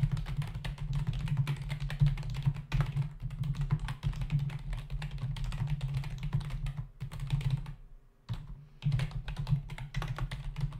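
Both hands type with their fingertips on a black plastic membrane computer keyboard with a hollow body and plastic keys, resting on a desk. It makes a steady run of rapid, dull keystroke taps with a low, hollow thud, pausing briefly near the end before the typing resumes.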